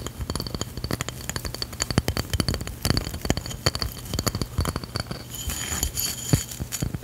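Long fingernails tap rapidly across the face and edge of a solid, hand-held round tan stone or ceramic drink coaster with an etched design. The result is a dense run of short, dry clicks and light clinks that die away almost at once, each with a dull low knock and a bright, crisp top.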